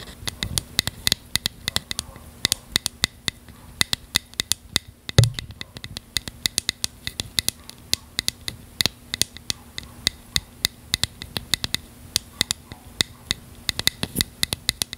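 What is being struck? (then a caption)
Small plastic container. A small, hollow, translucent purple plastic container or lid, held in one hand, is tapped and scratched with long fingernails. Dozens of quick, bright clicks sound over a faint scratching hiss, with a duller thump partway through.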